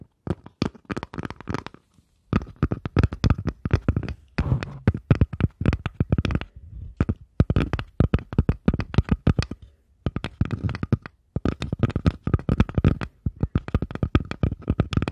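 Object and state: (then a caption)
Wooden surface tapped with fingers. Fingers tap on a wooden surface in quick, uneven bursts separated by brief pauses. Each tap is a short, dull, low knock that dies away almost instantly, with only faint brighter clicks on top.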